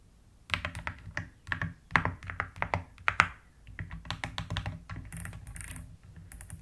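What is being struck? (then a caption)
Plastic mechanical keyboard. Long-nailed fingers type and tap on a white plastic mechanical keyboard with pastel keycaps, with the hands moving to the right side at times. After a half-second of quiet come about 22 short, dry clacks, each with a low, rounded thock and a bright click on top. Toward the end the typing turns into a quicker, softer run of keystrokes.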